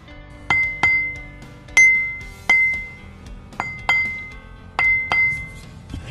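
A large solid grey silicon carbide grinding wheel, about 8 inches across with a wooden/orange bushing, is held upright by hand on a bench and tapped with the plastic handle of a screwdriver as a ring test. Eight separate taps each give a clear, bright ringing clink with a steady tone near 2 kHz that fades within a fraction of a second.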